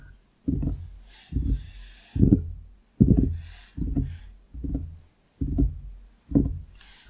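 Fingertips of both hands tap on a large, solid wooden desktop around a foam-covered microphone. Eight dull, low thumps land in a loose, uneven rhythm, each fading quickly with little ring. A faint high hiss rises in some of the gaps between taps.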